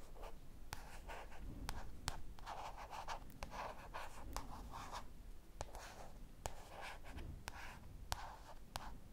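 Long dark purple painted nails scratch and tap the front paper cover of a light blue paperback book held upright in both hands. Soft, papery scratching strokes alternate with sharp, dry taps that die away almost instantly over a low, steady background hum. Faint whispering may be mixed in.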